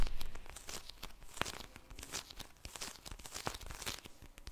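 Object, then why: Plastic gel bead eye mask. A pink plastic gel bead eye mask is squeezed and tapped by long-nailed fingers close to the mic. The result is a quiet, continuous crinkling and crackling texture broken by sharp, bright nail clicks, with a soft low rumble underneath.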